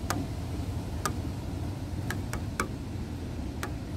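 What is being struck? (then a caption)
Wooden bench slats. Fingernails tap and tick on the grey, weathered solid wooden slats of a bench, giving six short, dry clicks with a bright mid-pitched snap. The clicks are spaced irregularly over a steady low rumbling background.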